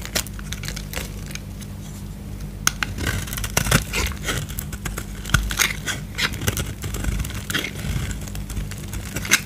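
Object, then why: Bar of soap. A utility knife blade scrapes a solid white bar of soap with remaining gold paint, held in the hand. Dry, crackly scraping strokes rasp bright and gritty over a steady low hum, with a few sharper clicks standing out along the way.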